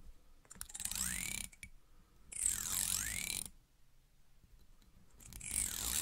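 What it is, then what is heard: Plastic comb teeth strummed. Long red-painted nails strum and flick along the long thin teeth of a small, solid, wide black plastic comb held in front of a wigged microphone. Three bursts of quick, bright, ratchet-like clicking are heard, with quiet gaps between them.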